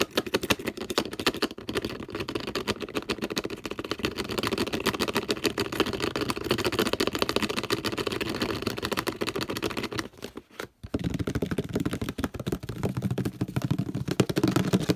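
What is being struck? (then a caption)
Plastic detergent bottle and ridged cap. Fingers rapidly tap and scratch the purple ridged cap and the shoulder of a hollow orange plastic detergent bottle, making a dense, continuous stream of quick, dry plastic clicks and scratchy rasps. The sound breaks off briefly around ten and a half seconds, then resumes at the same fast pace.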